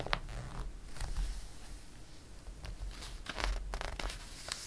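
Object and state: Glossy paper catalog pages being handled.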